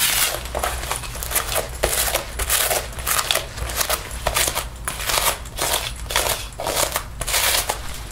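A sticky paper lint roller is rolled and rubbed along the sleeve and front panel of a black faux leather jacket being worn. The steady rolling brings repeated bursts of bright, sticky crackling as the tape peels off the synthetic leather, over a faint low hum.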